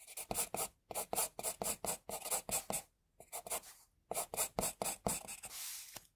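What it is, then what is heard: Pencil drawing on paper. A pencil draws the eyes and jaw line on a flat white drawing sheet. It makes around two dozen short, bright, scratchy strokes in quick bursts, with brief pauses near the middle. The clip ends on a longer, smoother stroke.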